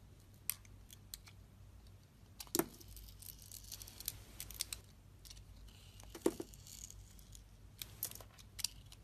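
A utility knife blade slices the outer layer off a solid blue glittery Nivea soap bar with a peach interior, held by a hand with long red nails. Soft, crisp scraping strokes and bright ticks are broken by a few sharper snapping cuts over a quiet, low hum.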